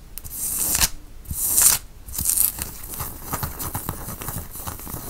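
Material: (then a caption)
Cotton. Fingertips scratch across the front and shoulder of a white cotton t-shirt being worn, making bright, dry rasping strokes. The first few strokes are long and loud; after them comes softer, irregular scratching with faint ticks.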